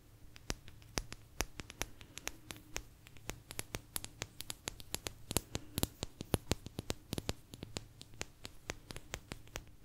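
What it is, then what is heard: Thin agate slice tapped with nails. A small, thin, solid blue agate slice is tapped and scratched with long nails, giving a quick run of sharp, dry clicks with very short ring and bright high-frequency edges. The taps come in uneven clusters over a faint steady low hum, with soft scratchy texture between them.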